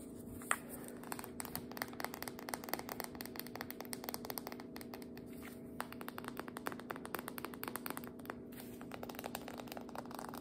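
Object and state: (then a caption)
Cardboard biscuit dough can with metal ends. Long fingernails tap and scratch quickly and steadily on the label and metal end of a cardboard biscuit dough can that appears full, first standing upright and then held tilted. The clicks are quiet, short and crisp over a faint steady hum.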